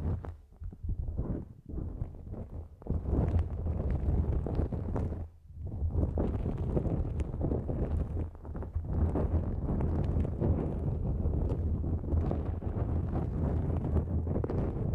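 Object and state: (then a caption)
Nonwoven fabric drawstring bag. A thin, flexible pink-and-white nonwoven fabric drawstring pouch stretched over a microphone is scratched with long nails. The result is dense, rapid rustling and scraping over a strong low rumble, with a brief quieter pause near the start and another just after the midpoint.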